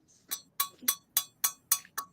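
An 18-inch carved decorative piece that looks like hard wood is tapped seven times, each tap giving a short, bright, ringing clink rather than a dull knock. The sound shows it is not wood but a glazed faux-wood carving.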